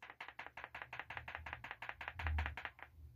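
A faulty electrolytic capacitor, found bad in a charge test where it fell to 600 mV overnight while others held 3.1 V and its equipment malfunctioned, is shaken so its loose internals rattle. A rapid, steady series of dry clicking rattles sounds over a low hum and fades out at the end.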